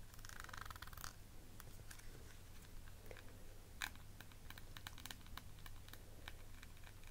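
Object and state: Clear plastic eyeshadow palette case.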